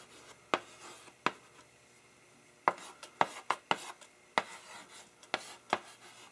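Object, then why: Chalk on a wood-framed blackboard. A gloved hand writes the words "more. I also take" in chalk on a wood-framed blackboard, using quick strokes and dots. Sharp, bright chalk taps and short scrapes stand out against quiet gaps. Each tap dies away almost at once on the flat surface.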